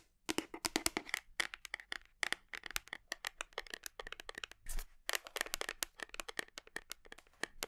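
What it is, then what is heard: Plastic protein tub tapped with nails. Long nails tap rapidly on the side of a large black, labeled plastic whey protein tub that is hugged against the body; the tub is hollow and probably partly filled. A quick, irregular run of dozens of sharp, dry clicks sounds bright with a hollow mid-tone, each dying almost instantly. A brief duller rub or thump falls near the middle.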